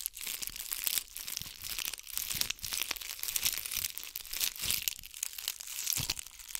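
Long nails scratch a ball covered in bugle beads right next to the microphone. The result is a dense, bright, crinkly rustle of rapid tiny clicks, rising and falling in loose waves with almost no low end.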